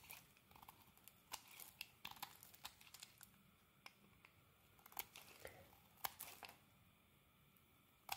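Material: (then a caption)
Soap. A utility knife blade shaves and carves the surface of a solid rectangular green bar of soap held in the hand, curling it into shreds that pile up beside it. Quiet, dry, crisp scrapes and crinkly ticks come in an irregular series of short, sharp bursts with bright high tones and almost no low end.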